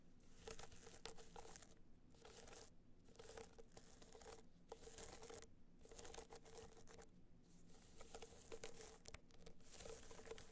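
Long nails scratch and tap across a small, rigid, hollow gold hard-shell box clutch covered in gold metallic material with raised dots. The result is quiet, dry, crinkly scratching in bursts with soft taps and brief pauses, over a faint steady tone.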